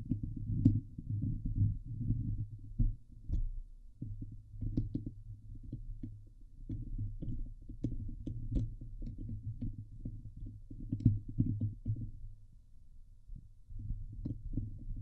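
Long glitter-polished fingernails of both hands scratch the hollow woven steel mesh dome grille of a Blue Yeti microphone head on its metal body. The scratching comes through as a dense, deep, throbbing rumble centered low around 105 Hz, with quick strokes that barely ring and a brief quieter dip near the 13-second mark before the scratching resumes.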